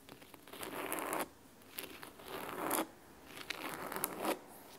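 Fingernails scratch along the spine and top edge of a large, thick, solid hardcover book bound in red fabric. Three long, crisp, raspy strokes swell and fade with quiet gaps between them. The texture is dry and broadband, strongest in the mids with bright hiss on top and almost no low end.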